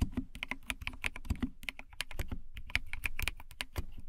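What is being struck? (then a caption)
Plastic mechanical keyboard keys. Long nails type rapidly on a compact white plastic mechanical keyboard with a cat-shaped case. The key taps are dense and steady, each with a deep low thud and a bright, sharp click. Every tap stops almost at once, leaving a quick, continuous clatter.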